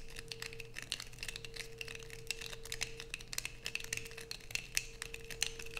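Long nails scrape and peel curls from a light-blue bar of soap held in both hands, making rapid, crinkly tearing scratches with bright, crisp edges and a ringing tone near 2.6 kHz. A faint steady tone near 480 Hz runs underneath the quick, irregular bursts.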